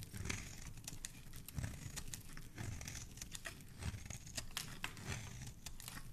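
A black blade scrapes and cuts into a solid pink soap bar held in the fingers, shaving off crumbly white flakes. Dense, dry crackling and crunchy scraping strokes follow one another quickly, with bright snaps over a soft low rumble.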